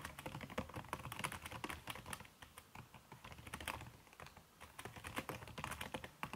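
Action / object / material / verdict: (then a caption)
tap / laptop keyboard with silicone key cover / silicone / none. Fingertips and long red-painted nails type quickly on a backlit aluminium laptop keyboard whose plastic keys are covered by a red silicone skin. The result is a dense, steady stream of soft, muffled key taps with bright clicks mixed in, each tap dying away almost at once.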